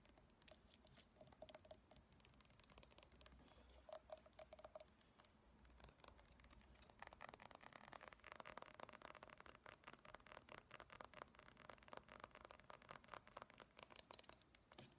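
A small glass reed diffuser bottle with a white plastic cap and reed sticks, partly filled with a white crystal-like substance, is held in both hands and tapped and scratched with long painted nails. Quick, quiet clicks and scrapes patter throughout, growing denser and louder after about seven seconds, with a faint high glassy ring.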